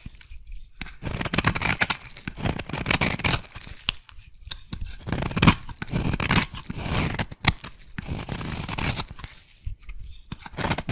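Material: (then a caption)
Soap. A solid purple (lilac) soap bar is shaved with a metal blade and then with a thin metal tool. Repeated crisp, bright scraping and cutting strokes rasp through the soap, separated by short quiet pauses.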